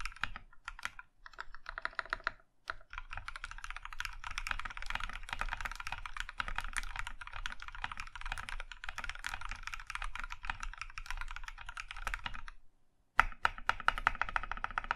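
Fingertips type rapidly on a compact Iron 165 mechanical keyboard with a maroon metal case and cream plastic keycaps, the last stretch typed with one hand. Dense, short clacking keystrokes with a mid-high tone around 1.3 kHz carry on steadily, with a brief gap near 2.5 seconds and a longer pause near 12.7 seconds before a final burst of typing.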